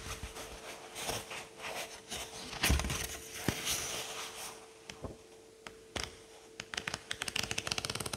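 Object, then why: Paperback book, paper pages. A thumb bends a stack of pages in a thick paperback book held open on a table and lets them riffle off one by one. Soft, papery rustling and crinkling swells through the first half, peaking in a louder flutter around the third second. It thins into sparse sharp flicks, then a quick run of bright ticks at the end, over a faint steady hum.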